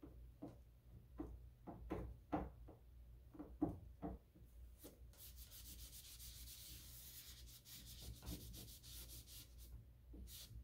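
Fingers holding a white disinfecting wipe grip a solid chrome-plated metal lever handle with a round rose on a white door and rub the lever and rose. Soft, irregular rubbing strokes with dull low thumps come first, then give way to a steadier, brighter swishing of the wipe over the metal.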